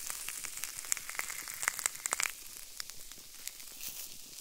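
Fingertips and nails of both hands press, pinch and crush the bubbles of a small clear plastic bubble wrap sheet with a white coating, resting on a wooden table. Dense, bright crackling fills the clip, with sharp pops and clicks clustered in the middle before it thins to a softer, high rustle toward the end.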